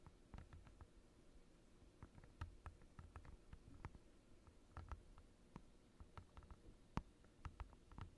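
Fingertips and short nails of both hands tap a thin, clear, glossy plastic desk mat lying on a desk. About 25 quiet, irregular taps land as dull low thuds with faint crisp clicks that die away almost instantly.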